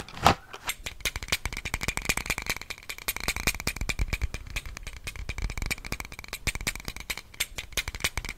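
A small pink plastic box-cutter knife with a hollow handle is held in both hands and handled and tapped with the fingertips. Its blade and slider give off a fast, continuous stream of short, dry clicks and rattles, with one louder snap right at the start. A faint steady tone rings through the clicking.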